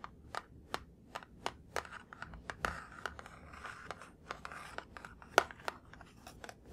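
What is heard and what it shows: A printed cardboard laptop charger box with a blue plastic hang tab, held in both hands, is tapped with fingertips and nails on its face and top edge. About twenty sharp, dry, hollow clicks land at an uneven pace with no ring after each hit. Soft scratchy rubbing fills the gaps in the middle of the clip.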